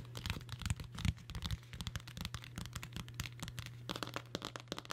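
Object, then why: Cloth-covered hardcover book. Long nails scratch and tap across the cloth-covered board of a large dark blue hardcover book held in both hands. Dense, irregular crackly scratches and soft taps run throughout, with bright rasping texture over a steady low hum.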